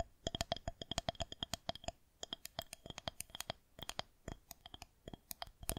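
Long fingernails on both hands tap and scratch the top of a solid white plastic rolling pin held horizontally. Around 35 quick, dry clicks come in uneven bursts, with a brief lull near the two-second mark. Each click carries a short hollow tone around 680 Hz with bright, crisp overtones that die away almost instantly.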